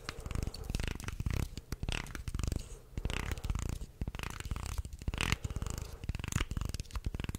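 Fingers scratch and tap along the wooden slats of a wooden segmented shark toy held upright. The result is a dense run of short, dry clicks and rubbing scratches, heavy in the low end, with brief bright edges and almost no ring.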